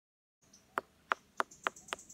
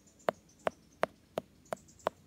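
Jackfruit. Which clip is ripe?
The second.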